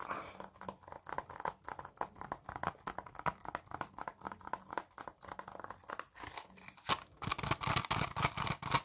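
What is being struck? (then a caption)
Plastic game case, possibly in wrapping. A small, hollow blue plastic PS4 game case for The Last of Us Part 2, closed and possibly still in its wrapping, is held in both hands and tapped and scratched with the fingertips. Dense, irregular crinkling, tapping and scratching sounds follow one another quickly, with short dry clicks and a bright, papery rustle. The sound grows louder and busier toward the end.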